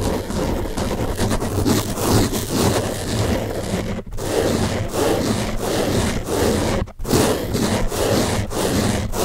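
Fingertips and nails scratch the top surface of a large blue open-cell foam car sponge, a soft porous block. A steady, dense, crackly scratching and rubbing fills the clip, with weight in the low range and brief pauses near four and seven seconds.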